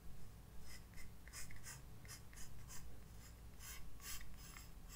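A graphite pencil scratches sketch lines across a white paper page of a spiral-bound sketchbook resting on a desk. Short, bright, rasping strokes come in irregular bursts over a steady low hum.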